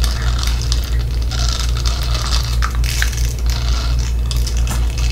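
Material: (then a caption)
Silicone. A small, flat blue silicone facial cleansing brush with soft bristle nubs is scratched and rubbed with fingertips and nails close to the microphone. It makes a dense, crackly scratching and rubbing texture with bright, quick ticks scattered through it. A steady low hum sits underneath the whole time.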